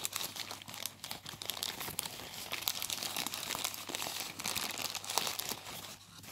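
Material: Plastic.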